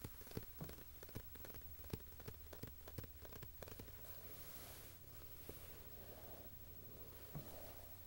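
Fingertips and nails tap and rub the front cover of a glossy Monocle magazine lying closed on a carpet, a thin solid stack of paper. Quick, dry taps patter like rain through the first half, then ease into a soft papery rubbing hiss with one last tap near the end. The sound is quiet throughout, over a steady low hum.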